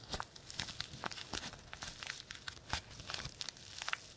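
A small, wrinkled, white-and-green printed paper tea bag sachet is squeezed and crinkled with the fingertips of both hands. The result is a quick, dense run of sharp, bright crackles and crinkles with a faint low thump underneath.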